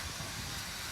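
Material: Nothing is struck.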